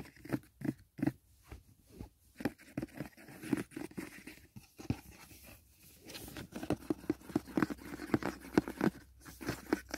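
Fingertips tap the lid of a closed white rigid cardboard gift box resting on a blanket, then fingernails scratch along its side wall. The result is a quick series of short, dry, hollow taps with a low-mid body around 310 Hz and almost no ring, followed by denser scratchy, crunchy strokes.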